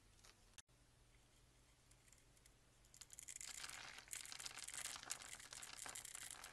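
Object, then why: Bar of soap cut with a blade. A box-cutter blade scrapes small cubes off a solid, rectangular, grid-scored peach bar soap held in hand. Faint, soft scraping with a brief silence near the start gives way after about three seconds to denser, bright, crinkly crunching and crackling as the cubes break away.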